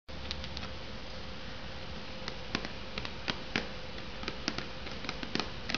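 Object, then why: Instant noodle cup in a cardboard sleeve. Long purple nails tap and scratch the top edge and sides of an unopened, hollow Maruchan Instant Lunch cup in its printed cardboard sleeve, resting on a wooden board. A steady, dense scratching hiss runs throughout over a low rumble and a faint steady hum. Short, bright, crisp taps stand out above it and die away almost instantly.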